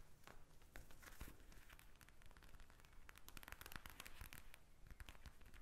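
Long nails tap and scratch the surface of a pink plastic eye mask filled with gel beads, lying flat on a glass table. The result is a dense run of quick, crackly clicks and rustling scratches with soft low thumps underneath, each sound stopping short with no ring.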